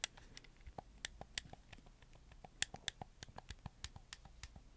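Fingertips move and click the white-capped joysticks and tap the buttons of a hollow plastic black PS4 controller held in both hands. The result is a quiet, irregular series of short, dry, bright plastic clicks and taps that stop almost instantly, over a faint low background hum.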